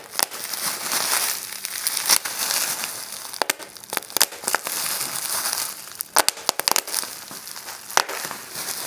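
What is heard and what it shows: Clear plastic bubble wrap lies on a table while fingertips press it, then one hand bunches and squeezes it to pop the bubbles. A steady, bright crinkling of plastic runs throughout, broken by many sharp, dry pops that cut off almost instantly.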